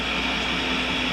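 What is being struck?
Nothing is struck.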